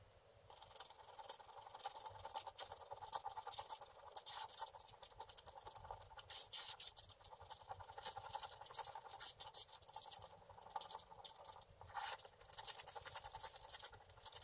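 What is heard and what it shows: A wooden stylus rubs and scratches across large areas of the black coating on a flat, solid scratch-art paper card lying on a table, working over the dragon's head. The sound is a dense, bright, papery scraping made of rapid strokes in bursts, with almost no low end and very brief decay.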